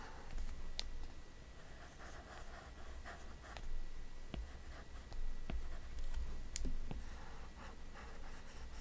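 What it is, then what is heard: Stylus on glass touchscreen. An Apple Pencil with a pink grip taps and strokes its hard plastic tip across the flat glass touchscreen of a large iPad Pro lying flat while drawing. Quiet, sharp clicks from the tip striking the glass mix with soft, scratchy swishes as it glides across the screen, over a faint low hum.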